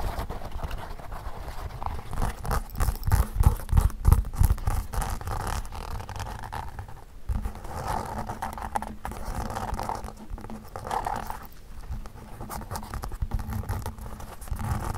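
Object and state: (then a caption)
Leather shoes tapped with fingertips. Fingertips and nails tap on the insoles and glossy toe caps of a pair of hollow, empty black leather Mary Jane shoes with elastic straps resting on carpet. The result is a fast, uneven patter of dull, low thuds, about three per second, with short scratchy nail clicks that die away almost instantly.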